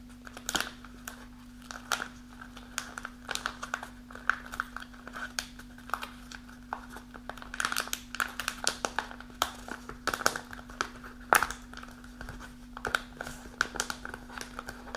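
Long nails scratch and squeeze a partly full kraft paper snack pouch held upright, crinkling the paper. Dense, quick crackles and rustles with a bright edge sit over a steady low hum.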